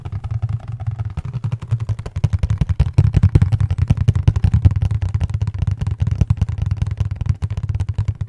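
A hollow, flat, dark printed cardboard box with colored labels is held in both hands and tapped and scratched with the fingertips close to the microphone. Quick, uneven hollow taps come as a dense run of deep, boomy thuds, each dying away almost at once, with faint bright scratchy clicks over them. It keeps an irregular drumming patter throughout.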